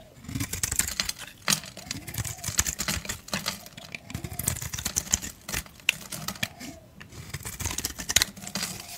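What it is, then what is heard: Bar soap carved with a blade. A solid blue Dial bar soap, held in the hand, is scraped with a blade. The scraping comes as a quick run of dry, crisp strokes with a bright, crackly texture, each ending almost immediately with no ring.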